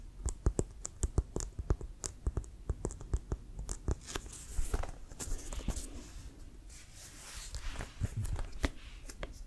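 A full-size, inflated, hollow brown composite leather American football with a white stripe and laces is held upright and tapped with fingertips and nails. Dozens of quick, dull, low thumps mix with sharp, bright nail clicks. Stretches of softer scratchy rustling run through the middle and near the end.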